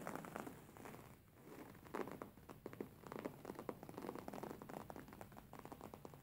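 Fingernails scratch and fingertips tap on a stuffed, beige embroidered linen pillow lying flat, its stitched fabric surface giving quiet, crackly scratching textures. Rapid soft taps and scrapes pile up in dense bursts, with a muffled midrange body and very little high or deep content.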